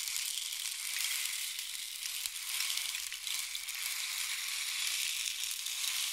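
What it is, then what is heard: Wooden rain stick. A long, hollow, painted wooden or bamboo rain stick is held diagonally and tilted so the pellets inside flow down its length. This makes a continuous, bright, hissing patter like falling rain, with almost no low end. The sound swells and eases slightly but never stops for the whole stretch.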